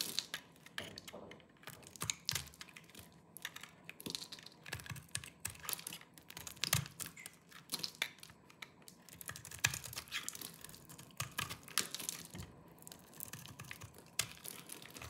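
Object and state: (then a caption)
Dry soap bar, crumbly. A small knife with a yellow-tan blade shaves and scrapes the surface of a hand-sized, dry green soap bar held in one hand, sending crumbly flakes falling off. The result is a steady run of quick, dry, crunchy scrapes and crackles, mostly bright with little low end, each one stopping almost at once.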